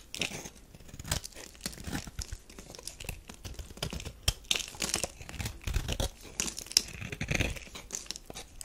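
A metal knife shaves crumbly flakes off a solid tan bar of soap. Close, dry scraping and crunching strokes with bright, crackly texture come in uneven bursts, with occasional sharper cuts standing out.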